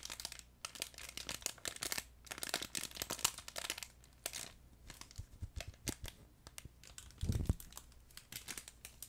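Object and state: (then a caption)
Crinkle pet toy. A yellow plush duck pet toy with a crinkle insert is squeezed and crumpled by fingers close to the mic, producing dense, bright crackling crinkles in irregular bursts. A steady low hum runs underneath, and a louder, fuller crunch lands near the seven-second mark.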